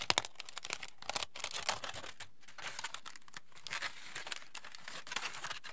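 A hand-sized crumpled aluminium foil sheet is spread open and crinkled between fingertips. It makes quiet, dense crackling: a rapid run of short, sharp, bright crinkles with brief pauses between bursts.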